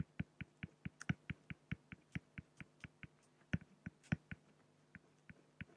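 A fine-tip pen scratches short hatching strokes across a large, flat, solid acrylic sheet, giving 24 quick, separate ticks. Each stroke is a dry, muffled tap with a low body around 172 Hz and a faint bright scratchy edge. Every tick dies away almost instantly, with brief pauses between the strokes.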